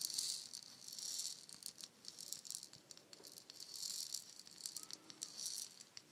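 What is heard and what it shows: A palm-sized, hollow, painted wooden shaker egg is held in both hands, tapped with the nails and shaken so its fill rattles. The result is a quiet, bright, hissy rattle in repeated swelling bursts, with short clicky taps and almost nothing in the low end.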